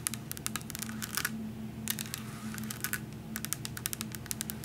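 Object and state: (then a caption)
Glass syrup bottle. A tall glass vanilla coffee syrup bottle with a paper label, full of liquid, is held and tapped with long nails. A rapid series of short, bright clicking taps comes in uneven bursts over a steady low hum. Each tap stops almost instantly with no ringing.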